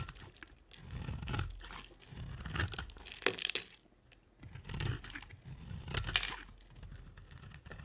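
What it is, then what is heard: Dry soap carved with a blade. A utility knife blade scrapes and carves the flat cut face of a solid white round dry soap with a dark glittery coating, held in the hand. Rough, crunchy scraping strokes rise and fade in repeated bursts, with dry tearing texture and a few sharp bright clicks as the blade bites.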